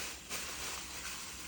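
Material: Nothing is struck.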